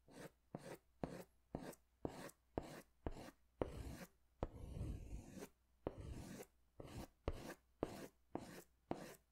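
A green pastel crayon is scratched in repeated strokes over a large white paper sketch pad held upright, near the pad's lower edge. About fourteen short, dry rasping strokes are heard, with a longer continuous scrape in the middle of the clip. Each stroke stops abruptly with no ring.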